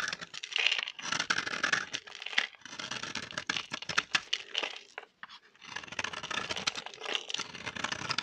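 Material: Soap.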